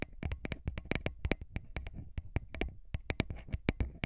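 Fingertips of both hands rub and tap the grilles of small hollow metal microphone capsules on a recorder. The result is a rapid, uneven run of close, dry taps and scratchy rubs, with heavy low thumps under bright clicks that stop dead with no ring.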